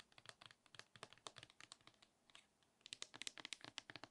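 A large, hollow plastic Nivea lotion bottle with a pump, apparently full, is tapped with long acrylic nails. About 26 quick, irregular, clicky taps sound bright and dry with almost no low end. They pause briefly midway, then resume slightly louder.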